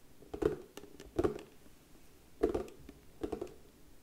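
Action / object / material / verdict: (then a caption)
tap / round wooden box lid / wood / none. Long nails tap rapidly on the lid of a round, hollow box of darker brown wood with a white label, held in both hands. Four quick bursts of light, hollow clicks sound, with short-lived ringing and quiet pauses between them.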